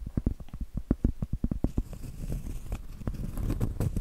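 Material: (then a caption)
Cork. Acrylic nails work over the textured flat face of a round, solid cork trivet. It starts with a quick run of soft, dull, low taps, then shifts to a steady, brighter scratching.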